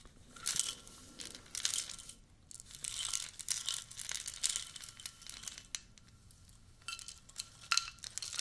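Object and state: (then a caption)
Cardboard tea canister. Long nails scratch and tap the label and metal-capped rim of a hollow, orange cylindrical cardboard tea canister as it is turned in the hands. Bursts of bright, crinkly scratching alternate with sharp, dry taps that die away almost instantly, separated by brief quiet pauses, with almost no low end.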